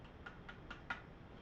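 Four light taps on a Luth-AR MBA-1 rifle stock made of fiber-reinforced polymer give short, dry ticks with a brief ring near 1.4 kHz, the last tap slightly louder. The stock sounds very stiff and very hard.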